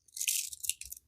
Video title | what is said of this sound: We Weren't Sure What to Think About This Mystery Jewelry Bag.. | शायद आप इसे दूर से सुन सकते हैं। बस टिन टिन टिन की आवाज़ आ रही है। झनझनाहट